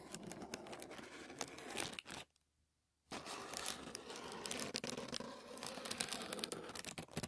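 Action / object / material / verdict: scrape / thin tissue paper sheet / paper / none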